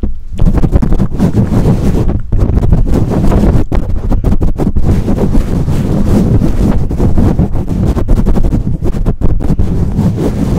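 Long nails scratch and tap on the bare black metal mesh grille of a condenser microphone. The result is a loud, continuous, muffled rumble of scraping, heavy in the low end with almost no brightness, broken by brief gaps and quick tapping bursts.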